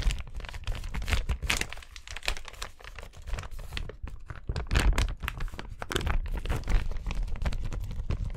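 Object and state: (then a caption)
Plastic carrier bag. An empty, flat, thin yellow JD plastic carrier bag is held in both hands and crinkled and rubbed with the fingers close to the microphone. It makes a steady stream of dense crackling and crinkling with bright, sharp bursts over a heavy low rumble from handling, surging louder in places and never pausing.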